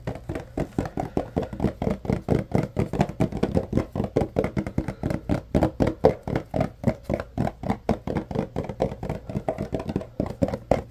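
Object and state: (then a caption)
Cardboard box. A yellow Arm & Hammer paperboard deodorizer box, held in both hands, is tapped and scratched on its sides by fingers. About 63 quick, dry taps with no ring follow one another steadily, giving a hollow, low-mid cardboard thump.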